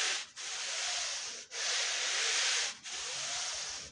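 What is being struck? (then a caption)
Wet wool rug scrubbed with a push brush. A long-handled push brush scrubs a wet, foamy, dirty woven wool Persian rug in long back-and-forth strokes separated by brief pauses. Each stroke is a steady, bright, hissy rasp with almost no low end.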